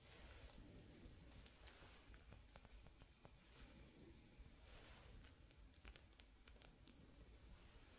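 A glass hourglass with white sand, its thin hollow bulbs held in both hands while sand streams into the lower bulb, is tapped with fingertips and nails. Quiet, dense, bright clicks sound against a steady low rumble and soft, continuous rustling hiss.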